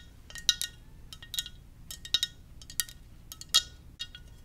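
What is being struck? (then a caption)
Ceramic mug. Gentle tapping on a ceramic Darth Vader mug gives a scattered series of light, bright clinks and ticks. Each tap is short and crisp, with a faint glassy ring that dies away almost at once over a quiet background.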